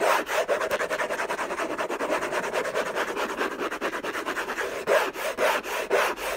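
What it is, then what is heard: Scratched cardboard box. Fingertips and short nails scratch hard and fast across the lid of a closed, long rectangular orange Hermès cardboard box covered in textured paper, with unknown contents, lying on a fluffy blanket. The result is a continuous, dry, rasping scrape with quick, uneven strokes and a bright, papery hiss. There is no low rumble.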